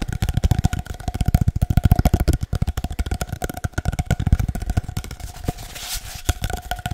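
Fingernails and fingertips scratch and tap rapidly along a long, hollow, empty cardboard paper towel tube. The result is an irregular stream of short, dry, low thumps with soft scratchy texture and a faint steady hum beneath.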